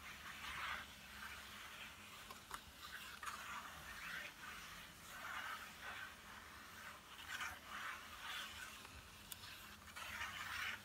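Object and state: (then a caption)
Cardboard pencil box being scratched and tapped. A small, flat, yellow Crayola cardboard box, hollow and filled with coloured pencils, lies on a table and is tapped and lightly scratched with fingertips and short nails. Soft, bright, papery scratching comes in repeated swells, with occasional crisp, short taps. The overall level stays quiet.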